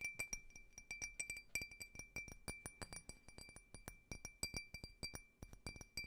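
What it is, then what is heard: Empty faceted glass tumbler. Fingernails tap rapidly and irregularly on a small, clear, faceted drinking glass tumbler, hollow and empty, held close to the microphone. Each tap makes a short, bright glassy clink with a high ring and a steady tone near 2.4 kHz that fades quickly, over a faint low background.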